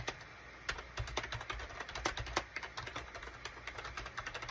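Fingertips of both hands rapidly tap the keys of a gray SHIPADOO K600 full-size wired USB keyboard, which has a gray plastic case and cream, gray and orange plastic keycaps. Each keystroke is a quick, sharp plastic click that dies away almost at once, with a bright top and a soft low thump beneath. The taps come in an uneven, steady run of typing.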